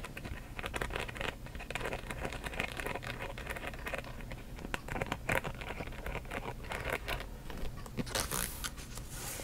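Long nails tap quickly on the front panel of a hollow rainbow-print coated canvas handbag held in front of the mic. The result is a dense, steady patter of short, dry clicks with a scratchy, crinkly texture over a low rumble, with brighter, harsher scrapes near the end.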